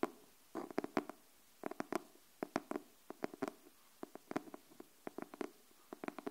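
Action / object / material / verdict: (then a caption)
tap / cardboard hardcover notebook / cardboard / none. Long nails tap the cover of a pink cardboard hardcover paper notebook held upright, making bursts of quick, dry, hollow knocks with a low-mid body around 300 Hz. Each tap dies away almost at once, with quiet pauses between the clusters.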